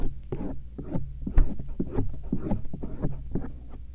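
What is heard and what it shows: A stainless steel earpick gently scratches and rubs the outer ear and the area near the ear canal of soft silicone ears on a binaural microphone. The result is a quick string of short, muffled, low scratching and rubbing bursts over a steady low hum, with almost no bright content.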